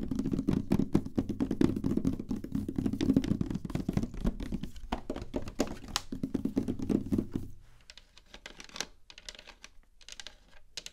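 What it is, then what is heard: Plastic game console tapped with nails. A large, hollow, glossy black plastic PlayStation 3 console is tapped with long nails, first on the top and then on the vented side. Rapid, irregular taps on the top give dull, hollow, low thunks with a short boxy resonance. After about 7.5 seconds, the taps on the vented side turn quieter, thinner and clickier, with little low body.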